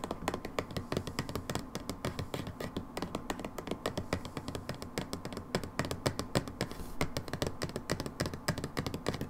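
Long nails tap rapidly and continuously on the label and plastic of a brown plastic hydrogen peroxide bottle lying on its side, hollow and possibly holding liquid. The taps are short, dull, and low-toned, with almost no ring after each one.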